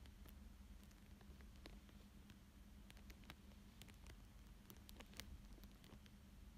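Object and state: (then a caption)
Plastic sheet over paper being traced. A thin dark pointed stick traces lines on a thin clear plastic sheet laid over a coloured paper drawing. Quiet, soft crinkles and faint, brief scratchy ticks come through over a steady low hum and a faint constant tone.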